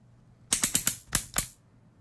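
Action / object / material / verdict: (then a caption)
tap / plastic electric shaver comb guard / plastic / none. The plastic comb guard of a handheld electric shaver or trimmer, with a plastic body and metal-look head, is clicked and tapped with fingers. Six sharp, bright clicks come in a quick, uneven series over about one second, each dying away almost at once.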